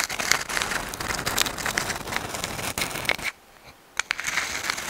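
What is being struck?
Dried sand dollar shell scratched with fingernails.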